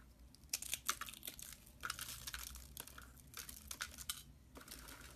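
A bare hand crushes and crumbles a pile of thin, hollow, white dry soap shavings, curled into rolls on a metal tray, between its fingertips. The result is a quiet, dry, bright crackling and crinkling, with bursts of sharp snaps and crunches over a soft hiss.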